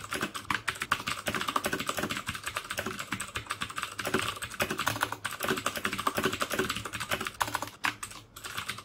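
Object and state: Plastic mechanical keyboard with clicky switches.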